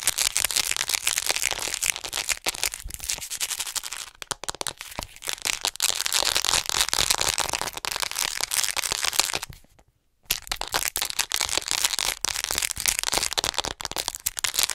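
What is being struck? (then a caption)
Plastic acupuncture model figure. Long nails tap rapidly on the front torso of a white, hollow plastic acupuncture model doll, about 40 cm tall, held in front of the microphone. The result is a dense, bright stream of sharp, crackly clicks with almost no low end, broken by a brief silence just before the ten-second mark before the fast tapping resumes.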